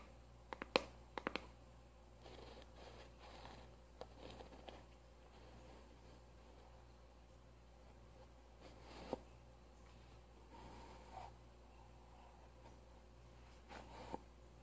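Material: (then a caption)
Cardboard. A small, hollow kraft-cardboard cylindrical tube with a lid seam is held upright and tapped with long manicured nails on its top and side. About nine quick, dry taps stand out: a fast cluster near the start, then sparse single taps, over soft scratchy rustling. A steady low hum sits underneath in an otherwise quiet, close setting.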